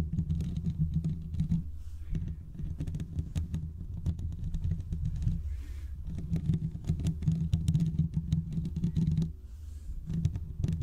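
Short fingertip nails scratch the hollow metal mesh grille of a large condenser microphone. The result is a dense, low, rumbling scratch full of rapid clicky taps, coming in bursts with brief quieter pauses near 2, 6 and 9 seconds.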